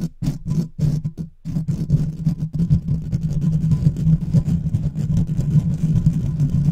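Fingertips and nails of both hands quickly scratch the hollow metal mesh grille of a large silver microphone with no cover. A few short, separated bursts of scratching come first, then the sound settles into a continuous, dense, low rumbling rasp, heavy in the low end with a steady low hum.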